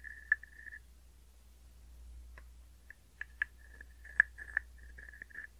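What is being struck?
Small hollow wooden frog guiro.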